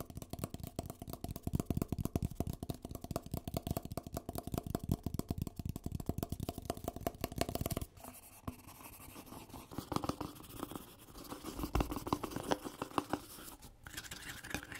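Fingertips and nails rapidly scratch and tap the wall and plastic lid of a hollow white paper coffee cup with writing on it, held close to the mic. A dense run of quick, dry, hollow taps and scratches lasts about eight seconds, then shifts to softer, more uneven scratching with occasional louder taps.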